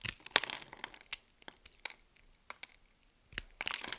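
A solid green soap bar held in the palm is cut with a metal utility blade, and grid cubes break off. Bright, dry crackling and crunching snaps are heard as the blade scrapes and cuts the soap. The bursts are spread unevenly across the clip, with quieter gaps between them.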